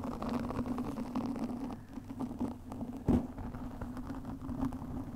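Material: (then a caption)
Foam. Long nails of both hands scratch a black foam windscreen on a studio microphone, making a dense, continuous rustling and crackling with a steady low hum near 240 Hz. A brief louder scrape stands out just after the three-second mark. No high content comes through.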